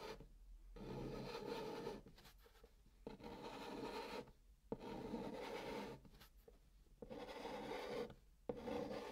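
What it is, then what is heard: Chalk scraping on a cardboard box. A hand draws a long pink chalk curve across the hollow top of a brown cardboard box in continuous strokes. The chalk scrapes the cardboard with a dry, raspy rubbing sound, centered in the mid range around 480 Hz. The sound comes in several sustained scraping passes separated by short quiet pauses.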